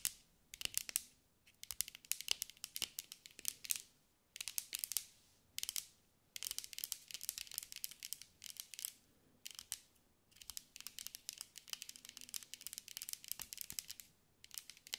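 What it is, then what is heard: Glass mosaic ball. A green mirrored glass mosaic sphere, held in the hands, is tapped and scratched with long acrylic nails. Rapid, bright, crisp clicks and scratchy crackles come in dense bursts separated by short silences, with almost no low end and no ringing after each tap.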